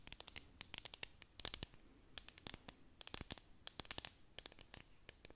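A clear hollow plastic tumbler with a bead-decorated dome lid and confetti inside is held close and scratched with long nails. The result is a rapid run of crisp, bright, dry scratching clicks that stop short with almost no ring, over a quiet low background.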